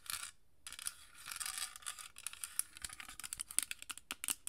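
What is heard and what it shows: Long nails scratch and tap a small rectangular amber glass perfume bottle with a dark cap, partly filled. A bright, hissy scraping comes first, then a brief pause, then more scratching that turns into a run of quick, crisp clicking taps with almost no ring.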